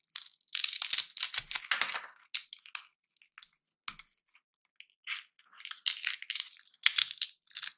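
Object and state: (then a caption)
Dry peanut shells crushed. Dry, hollow peanut shells are crushed and split between the fingertips over a heap of shells. Bursts of bright, brittle crunching and crackling come in clusters with short quiet gaps, each snap dying away almost instantly with no low thump.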